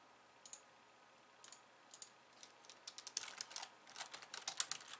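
Long painted nails type on a pink low-profile plastic keyboard with white keys resting on a wooden desk. Quiet, bright, crisp clicks start sparse and spaced apart, then speed up into a rapid, dense run of tapping. Each click dies away almost instantly.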